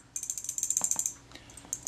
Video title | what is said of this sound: Retina IIc, the shutter doesn't work. | running nice and freely now you can hear it rattle backwards and forwards as i shake it